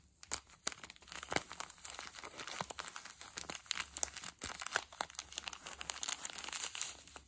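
A small clear polyethylene zip-lock bag with a red seal strip, full of soft blue felting wool, is held in both hands, squeezed and rubbed with the fingertips while the zip seal is pinched open. It makes a dense run of bright plastic crinkling with many sharp, quick crackles and almost no low end, lasting about seven seconds.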